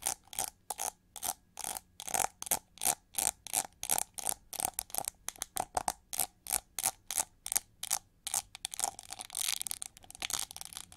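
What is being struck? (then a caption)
Plastic hair brush back. Long nails scratch and tap the ridged back of a shiny gold-plated plastic hair brush with a molded wing relief and pink bristles. The result is a steady rhythm of short, bright, dry scratching strokes with almost no low end, each cut off quickly. Near the end the strokes crowd together into a continuous hissy scrape.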